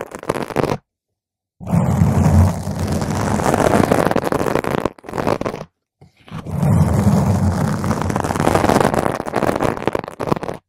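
Long pointed nails of both hands scratch a round purple foam microphone windscreen. This makes dense, rumbling, scraping bursts that are heavy in the low end, with several long stretches of scratching broken by short silent gaps.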